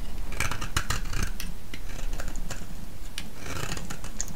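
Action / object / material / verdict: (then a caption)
scrape / bar of soap scraped with a metal blade / soap / none. A thinned, solid green soap bar held in the hand is scraped with a metal blade and then with a knife. The result is a steady, low, rumbling scrape with bright, crackly flecks and short scratchy bursts throughout.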